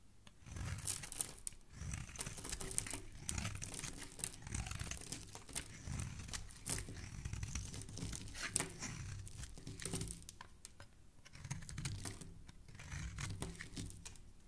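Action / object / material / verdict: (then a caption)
scrape / soap bar / soap / none. A thin black-and-metal blade scrapes and shaves a hand-sized solid white Safeguard soap bar held in one hand, sending off crumbly flakes. Dense, dry crunching and crinkly tearing sounds come in steady waves, with bright crackles over a soft low rumble and short quiet pauses between strokes.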